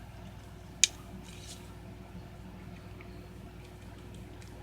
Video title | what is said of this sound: Leatherman T-Shank Metal Saw? Fits Surge? | I'm going to shake it for you. No rattle, right?